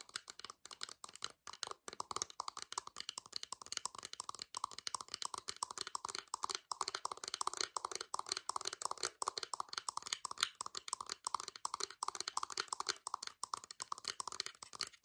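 Fingernails rapidly tap and scratch the two hollow ear cups of a pair of white plastic wireless over-ear headphones with a blue LED, held close with both hands in a very dark scene. The result is a fast, unpredictable stream of sharp, dry plastic clicks and scrapes. It is bright and thin, with a hollow resonance around 1.4 kHz, no low end, and very short decay.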